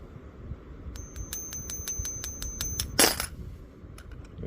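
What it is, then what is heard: Genuine silver quarter. A genuine silver Washington quarter is flicked repeatedly with a finger, giving rapid, bright metallic pings with a sustained high ringing tone that carries across the taps. It ends in a louder burst of noise and a few fainter taps. The clear ring marks it as real silver.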